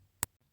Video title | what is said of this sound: 3D Pumpkin 🎃 @bornprettyofficial Soft Solid Gel!! 💖 | give it a little tap with one of your tools or your nail, and if it sounds plasticky, you're good to go. It's all cured